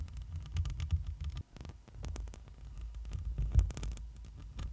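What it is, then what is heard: Metal mesh microphone grille being scratched. Long nails and fingertips scratch and brush over the hollow metal mesh grille of a black microphone. The result is a muffled, bass-heavy rumble of soft thumps and a low hum around 59 Hz, dotted with brief, faint crackling scrapes.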